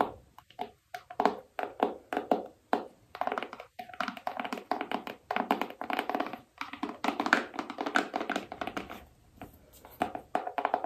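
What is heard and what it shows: Long acrylic nails tap rapidly over the surface of a small, hollow black cardboard iPhone box with a printed phone image, held in both hands. The result is a dense run of short, dry taps with a hollow, boxy tone and little low end, each dying away almost at once.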